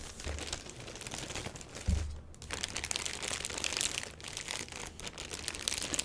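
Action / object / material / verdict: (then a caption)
scrape / cardboard box wrapped in a plastic bag / plastic / none. A medium box wrapped in a black plastic bag, with a paper shipping label on top, sounds hollow as long fingernails tap and scratch across the top. Then hands grip and squeeze the sides, and the plastic gives a steady, bright crinkling, with a dull low thump partway through.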